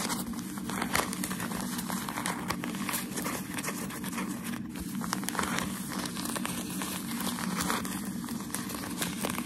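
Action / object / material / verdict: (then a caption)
scrape / thin wrapping paper / paper / none. A thin, white, crumpled sheet of shoe-packaging paper is held up in both hands while fingertips and medium-length nails rub, scratch and crinkle the creased sheet. The result is a dense, continuous stream of bright crinkling and scratching over a steady low hum, with frequent small crackles and no clear pauses.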